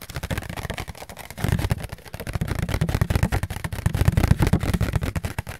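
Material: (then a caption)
Paper. A round, white, thin and flat disposable paper plate with a fluted rim, held in both hands close to the mic, is tapped and scratched with fingertips and nails. The result is a fast, continuous stream of soft, dull taps with a deep, thumpy low end, faint scratchy texture, and almost no ring after each hit. The tapping swells louder in bursts partway through.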